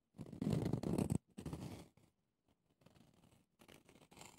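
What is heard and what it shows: Red-painted fingernails scratch and tap a small pumice stone brush with a clear plastic base held in the hand, working over the pumice top and the ridged plastic handle. Loud, low, gritty scratching bursts come first, followed by softer, uneven tapping and scraping.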